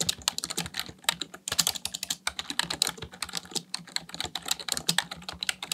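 Fingertips type fast on a full-size black plastic computer keyboard, giving a quick, uneven stream of short, bright clicks and clacks. Each keystroke dies away almost at once, with a little low thump beneath the sharp tops.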